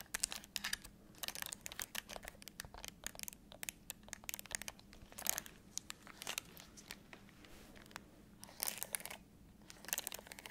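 Long acrylic nails tap and scratch the buttons and casing of a black, hollow, handheld-size plastic LG TV remote control. The result is a quiet, dense run of sharp, bright clicks and crinkly scratching in irregular bursts, with each tap dying away almost instantly over a faint low hum.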